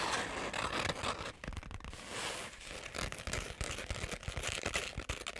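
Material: Glitter fabric.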